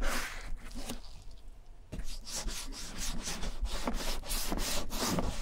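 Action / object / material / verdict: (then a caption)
scrape / leather satchel bag / leather / none. A gloved hand rubs balm into the tan leather front pockets of a vintage German satchel bag with metal clasps. Soft, breathy rubbing strokes repeat at an uneven pace, each a brushy swish with a bright top. The strokes briefly quiet in the middle, then resume more steadily.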